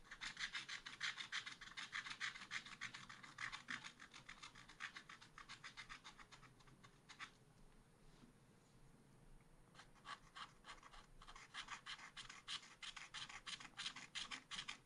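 A wooden stylus scratches back and forth across a small black-coated scratch art sheet to fill in an area. It makes quick, bright, raspy strokes at about three per second. The strokes soften into a quieter, lighter scratching from about 7.5 to 10 seconds, then return at full strength.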